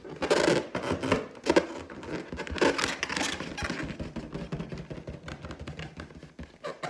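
Long teal nails scratch and tap across the surface of a large, hollow, inflated clear latex balloon with a gold pineapple print, held in both hands. Dense, rubbery scratching and squeaky rasps mix with quick taps, loudest in bursts during the first few seconds. The sound then settles into a steadier, softer scratching with a faint resonant body.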